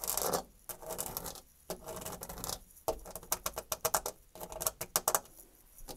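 Long nails scratch and tap rapidly on the flat surface of a white painted, textured molded panel door. Bursts of dry, bright scraping alternate with quick clusters of sharp, clicky taps, separated by short quiet gaps. Each sound stops almost instantly with no ring.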